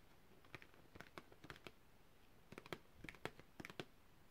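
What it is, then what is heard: Cardboard packaging card. A long, thin printed cardboard packaging card with a hang hole is held upright and tapped with long red-painted fingernails, with rings on the fingers. Quick, dry, clicky taps come in two loose bursts over a quiet background, each one short with almost no ring.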